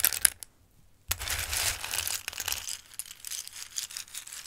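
Hands scoop handfuls of hard, dry Christmas-shaped pasta from a full bowl and let the pieces trickle back down. A few sharp, bright clicks are followed by a brief silence, then a sustained, high rustling and clattering as the pasta pours and shifts.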